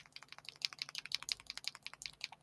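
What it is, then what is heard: Ink bottle with loose mixing ball. A plastic ink reinker bottle is shaken so the metal mixing ball bearing inside rattles freely, giving a quick run of sharp, bright clicks. The ball moves loosely, so it can mix the pigmented or metallic ink.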